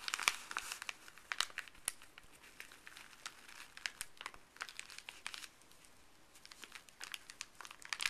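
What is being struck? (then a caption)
Paper bag. Fuzzy gloved fingers rub, lift and crinkle a folded, empty, printed white paper pharmacy bag. The result is soft, bright crinkling made of many quick, sharp crackles that come in uneven bursts over a faint hiss, with almost no low end and no ring after each crackle.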